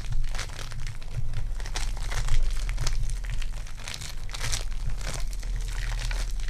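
A soft, sticky lump of lavender foam clay made of polystyrene beads is stretched, torn into pieces, and squeezed by fingertips with long dark nails. It gives dense, bright crinkling and crackling bursts over a steady low hum.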